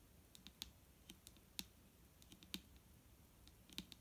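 Fingers tap on a plastic micellar water bottle, producing sharp, dry clicks with a bright high tone and almost no ring. The taps come at an irregular pace, some louder than others, over a quiet background.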